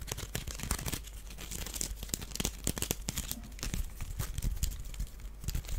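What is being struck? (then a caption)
Small woven wicker duck basket. Fingernails scratch along the weave of a small, hollow, empty woven wicker duck basket held in the hands. The result is a dense run of dry, crackling scrapes and quick ticks with bright, rough edges over a low rumble, each snap dying away almost instantly.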